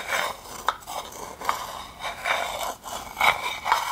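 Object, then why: Wooden bowl. A wooden spoon scrapes along the inside and rim of a hand-sized, hollow, empty, dark polished wooden bowl, and long nails scratch its outside. The result is a run of dry, rasping scrapes with a bright, woody tone centered around 2.2 kHz, broken by short, sharp clicks and brief pauses.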